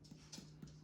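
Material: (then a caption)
Soft tissue. Percussion of a human abdomen along the left anterior axillary line, just below the lowest left rib, over the spleen area. Four soft, hollow taps sound out, each a brief low thump near 190 Hz that rings only briefly. The note is tympanic and stays tympanic on a deep breath, indicating no enlarged spleen.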